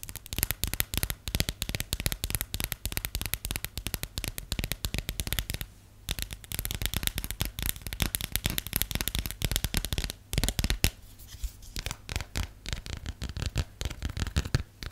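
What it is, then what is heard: Plastic phone case. Long nails tap rapidly and continuously on the textured back of a cream plastic phone case printed with a periodic table. The result is a dense stream of short, dry, clicky taps with very little ring, brief pauses near 6 and 10 seconds, and bright, crackly edges over a low thump.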